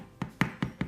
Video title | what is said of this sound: My simple homemade bread recipe ! - part 1 | a trick to know if your bread is done or not is turn it over and see if it sounds Hollow